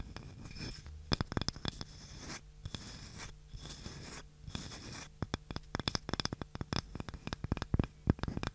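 A small, light, solid wooden cutting board with a handle is scratched and tapped with long nails. Soft scratching passages give way to many sharp, quick taps that die away almost instantly. A low hum sits underneath throughout.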